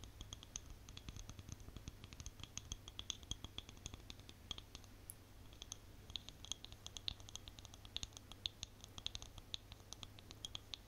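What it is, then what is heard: Plastic cosmetic jar. Long nails scratch and tap the lid and sides of a small white plastic cosmetic jar with a label. The result is a quick, steady stream of short, dry clicks and scratchy ticks with a bright, high edge, over a constant low hum.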